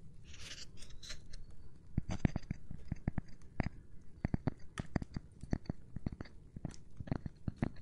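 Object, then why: Cork board. Fingers tap on a cork board in quick, irregular runs of dull, muted taps that stop dead with no ring. A soft, airy brushing opens the first second and a half, and some taps carry a light, bright tick over the low thud.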